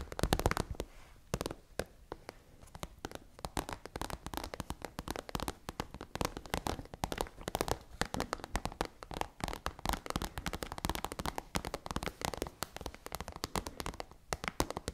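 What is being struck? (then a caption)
Plastic pencil case with contents. Long manicured nails tap and scratch on a tall, hollow, iridescent holographic transparent plastic pencil case with contents inside. The result is a dense run of quick, dry clicks and crackly scrapes that die away almost instantly. Between them is a steady low rustle, with occasional louder taps.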